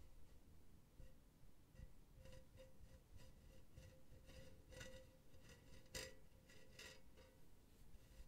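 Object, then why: Wire-mesh metal pen holder. Long painted nails scratch and tap a silver, hollow wire-mesh pen holder held on its side. Quiet, repeated scratchy taps with a bright rasp each carry a faint, short metallic ring, over a steady low background rumble.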